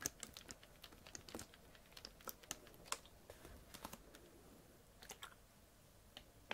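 A clear PET Bezoya water bottle, partly full of water, is tilted in the hand and tapped with fingernails. The result is a quiet, irregular run of short, bright clicking taps that die away almost instantly, with some faint shuffling between them.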